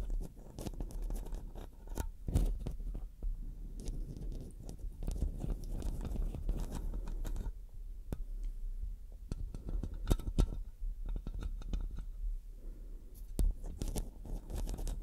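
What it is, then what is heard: Metal microphone mesh grille scratched with nails. Fingertips and long nails scratch the metal mesh heads of two black microphones while both hands rest on them. The result is a dense, continuous run of close scratching and crackling with a heavy low rumble and scattered sharp, bright ticks, with no clearly separate hits.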